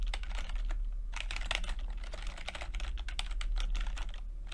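Fingertips type steadily on a plastic backlit chiclet computer keyboard with plastic keycaps. The result is a continuous run of quick, light, bright clicks and taps over a constant low hum.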